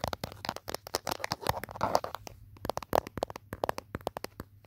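Fingertips with short nails tap and scratch the back of an old handheld smartphone in a mint-green plastic protective case, with the phone itself recording. A rapid, uneven series of short, dry clicks, centered in the mid-range, mixes with brief scratchy rustling passages. Each tap dies away almost instantly.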